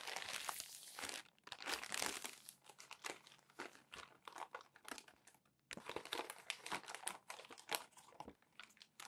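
Hands flip crumpled glossy magazine pages and press and rub them smooth with their palms. Dense, bright crinkling and crackling rustles come in quick bursts, with a brief pause midway before the rustling resumes.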